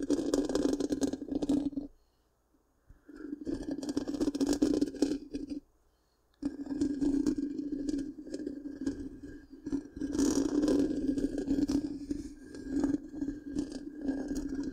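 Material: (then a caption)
Metal mesh. Long pink-painted nails of both hands scratch the black, round, hollow metal mesh grille of a large microphone. The result is dense, rapid scraping and clicking over a resonant low-mid tone, broken by two short silent pauses.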